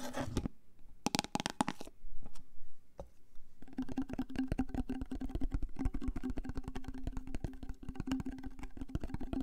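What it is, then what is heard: Plastic cream jar, full. Fingernails tap rapidly on the white lid and clear body of a large plastic Elizabeth Arden jar full of cream. Early on, short bursts of crackly scratching give way after a pause to a dense run of quick, dull clicks with a faint hollow ring near 246 Hz. The sound is mostly low and soft, with little brightness.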